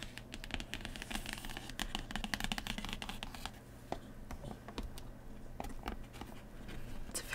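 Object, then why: Printed cardboard insert. Long nails scratch and tap across a printed cardboard insert inside an open game box. Quick, dry scratches and clicks run densely for about seven seconds over a steady low background hum, each one dying out almost at once.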